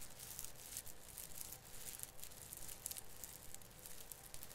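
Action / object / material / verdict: scrape / plastic needles of an artificial fir branch / plastic / none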